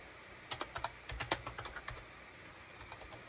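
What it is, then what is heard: Plastic computer keyboard. Fingertips tap repeatedly on the hollow plastic keycaps of a full-size gray and beige plastic wired USB keyboard (SHIPADOO K600) resting on a desk mat. About ten short, bright plastic clicks come in a quick burst, then after a pause a few softer taps follow, each dying away almost at once over a steady low hiss.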